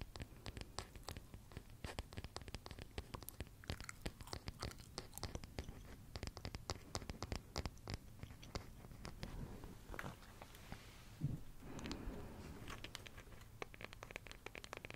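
Long manicured nails rapidly tap and scratch the solid light-wood back of a small wooden paddle hairbrush with bristles, held near a microphone covered in black fabric. The result is a quiet, dense patter of short, dry clicks with soft scraping in between.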